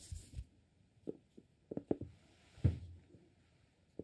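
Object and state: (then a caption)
Cork-lidded glass candle jar. Fingertips tap and scratch the top of the cork lid on a small amber glass soy wax candle jar filled with wax. The result is quiet, dull, low thuds that die away almost at once, spaced irregularly, with a faint soft scratching between some of them.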